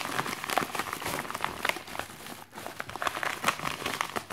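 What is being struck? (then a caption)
Plastic mailer bag. A white plastic postal mailer with a package inside rests on a desk while fingertips and nails scratch and crinkle the plastic. The result is a steady run of dry, crackling crinkles and scratchy rustles with quick, sharp peaks, bright in the upper range and with almost no low end.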